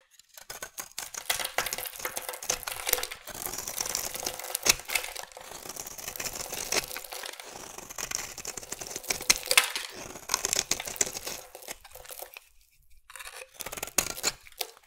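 A metal blade held by the fingertips shaves and carves thin curls off the edge of a solid oval bar of pink-and-white marbled soap held in one hand. It makes a dense run of crisp, bright scraping and scratching strokes with little low end. The scraping briefly quiets near the end before resuming.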